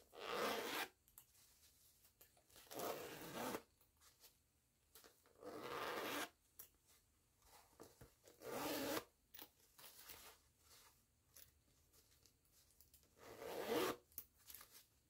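Fingertips with long nails pull the green nylon zipper of a small floral canvas pouch back and forth. Each pull makes a bright, rasping zip, with quieter gaps and faint fiddling between the strokes.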